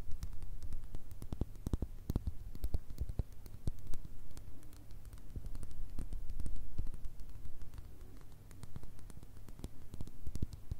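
Long red nails rapidly tap a full mini glass Nutella jar with a white plastic lid, striking both the glass and the label. The result is a quick, uneven patter of short, crisp clicks over a faint low hum.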